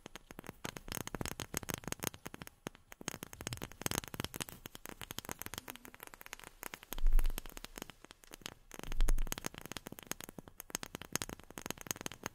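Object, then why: Wooden object tapped with fingernails. A wooden object is tapped with long fingernails, giving a fast run of dense, short, crackly clicks with little ring. Two louder, low, thumping swells stand out around the 7 and 9 second marks.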